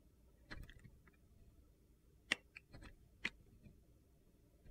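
A solid pale blue Coast soap bar, held in the hand, has its surface shaved into curls with a utility knife blade. Short, crisp, bright scraping clicks come in irregular bursts over quiet background hiss, each dying away almost at once.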